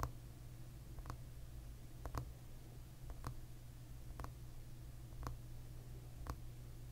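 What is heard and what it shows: Short fingernails tap on the glossy, solid tortoiseshell plastic back of a hairbrush lying pins-down. Each tap is a quick, dry click, spaced about a second apart over a steady low hum.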